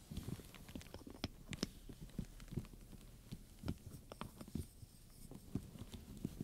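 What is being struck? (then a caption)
Leather handbag with metal studs. A wooden pointer and long-nailed fingertips tap and scratch the metal studs and black pebbled leather on the front panel of a studded leather handbag with buckles and straps. A quick, irregular run of short, dry, low-pitched taps is heard, with faint bright scratching in between and no ring after each hit.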